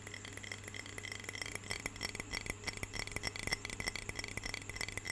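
Long fingernails tap rapidly on the glass walls of a medium, clear, lidded glass jar filled with water. The quiet, bright clicks are short and sharp, each carrying a faint glassy ring near 2 kHz, over a steady low hum.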